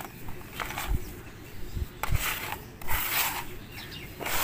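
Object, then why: Sand in a plastic bucket. Bare, sand-covered hands dig into a large pile of damp, crumbly red sand or soil in a pink plastic bucket, squeezing, rubbing and mixing it. Soft, gritty rubbing and crunching comes in bursts with bright, hissy grain texture, over dull low thumps as the sand is pressed and turned.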